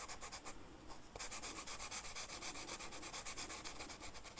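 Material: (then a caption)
Flocked paper. The felt tip of a blue marker rubs back and forth across a flat black velvet-flocked paper coloring sheet while coloring in a flower. It makes a steady, brushy scratching hiss of quick strokes, about four per second, with bright texture. The strokes briefly soften just before the one-second mark, then resume evenly.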